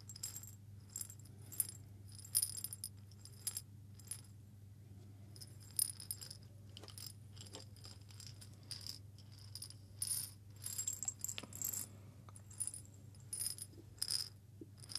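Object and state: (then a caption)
Small glass jar of coffee beans, shaken. A small hollow glass jar, partly filled with coffee beans, is shaken by hand near the microphone. The beans rattle and click against the glass in quiet, bright bursts of short, dry ticks that die away almost at once, with pauses between bursts. A steady low hum runs underneath throughout.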